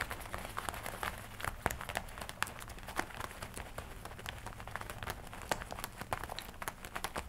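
Fingertips and nails tap and scratch across the chest and lapel of a worn black-and-red leather jacket with metal studs. Quick, irregular taps and brief scratchy crinkles come in a steady stream over a faint low rumble, each click sharp and dry with almost no ring.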